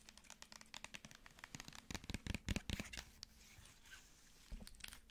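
Long nails tap and scratch the body and cap of a plastic cosmetic squeeze tube. Quiet, rapid, crisp clicks and bright scratchy crinkles build to a denser, louder flurry in the middle, then ease into softer scraping before a few final taps.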